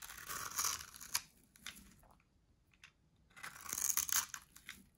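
A solid pale white-grey dry soap bar, held in the hand, is shaved and scraped with a metal box-cutter blade, sending flakes falling. Bright, crisp crunchy scraping comes in two longer bursts with a few short, quick strokes between them. There is almost no low end, and each stroke stops dry with no ring.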